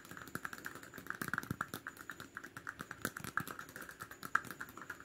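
Rapid, aggressive tapping and scratching on a plastic cap, played as an ASMR trigger. Dozens of short, dry clicks follow one another with almost no ring. A bright tone near 1.3 kHz sits over a soft scratchy hiss.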